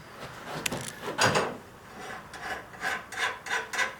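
A file is scraped in repeated strokes across a forged steel carving chisel blade after it has been oil-quenched. The file skates over the surface with a bright, glassy rasp rather than biting in. This shows the hardening took and the steel is hard.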